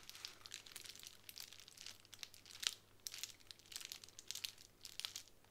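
Long nails scratch across a sheet of plastic bubble wrap lying on a table, making soft, bright crinkling and scraping bursts that come in quick irregular clusters. The sound is quiet and almost entirely high-pitched, with each scratch dying away instantly over a faint steady low hum.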